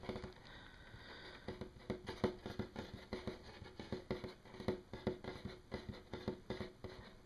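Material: Wood.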